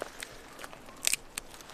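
A dry firewood branch is snapped or struck, giving several short, crisp, crunchy cracks with bright high-frequency crackle and a denser burst near the middle. This dry, crunchy sound is how good firewood should sound.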